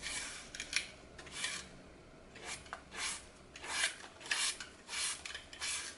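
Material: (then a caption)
Floral foam. A small blade cuts and scrapes crisp slices off the remaining small, solid piece of a glitter-coated green floral foam block held in the fingers over a glass bowl. Eleven short, bright, rasping crunches come in an uneven rhythm with quick decays, almost no low end and a faint hiss between strokes.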